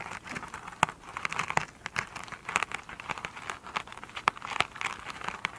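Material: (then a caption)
Foam, fabric. Long pointed nails scratch a rectangular foam sponge with a glittery woven cover resting on a table, and the sponge is soft and solid and is tipped upright at the end. A steady, close crinkly scratching fills the clip, broken by frequent sharp, dry ticks and taps that land bright in the upper mids. There is almost no low end and no ring after each touch.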